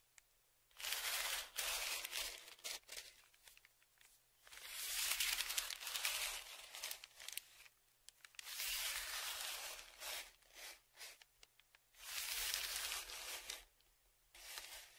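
A thin dark tool scratches across a large, flat, brown kraft paper padded mailer held flat on a table. Bright, papery scraping strokes come in bursts of varying length, separated by short quiet gaps.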